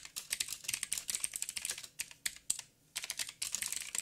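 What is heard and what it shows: Fingertips of both hands type on a backlit mechanical keyboard with black plastic keycaps, a silver frame and a hollow housing. Rapid, bright, crisp clicks arrive in quick bursts with almost no low end, and each tap dies away almost instantly. Brief pauses break the typing near the middle and toward the end.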